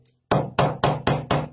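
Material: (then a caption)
Baked dough. A pão de queijo (cheese bread), soft with melting cheese when bought but gone rock-hard after being brought home, is knocked against a wall. Five sharp, solid knocks with short, low-pitched thuds show how hard it has become.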